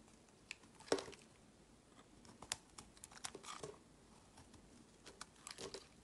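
A utility knife shaves thin curls off a solid, palm-sized oval bar of white soap with a blue layer. Quiet, dry, crisp scraping and crinkling cuts come in short, irregular bursts with a bright edge, with a louder cut near the start. Each shave stops almost at once, with no ring, leaving near silence between strokes.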